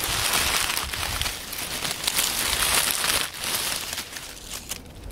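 Fingers rub and crumple a pile of dry, crisp oak leaves on a wooden table. A dense, bright crackling and crinkling runs almost without pause, briefly dipping after about three seconds and softening toward the end.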